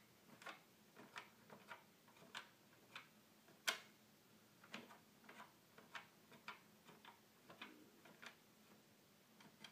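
A fingertip clicks the small plastic buttons on the top panel of a hollow red plastic toy keyboard. Quick, bright, dry clicks come in an uneven rhythm, each dying away almost at once, with one noticeably louder click partway through. Between the clicks the background is quiet.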